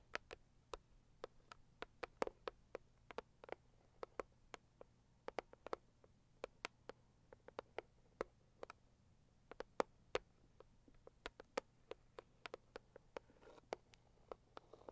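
Long acrylic nails tap the lid of a closed, hollow, medium-size pink floral Saviland cardboard gift box. The result is a quiet run of many short, dry clicks with a bright edge and almost no ring, over a faint low hum.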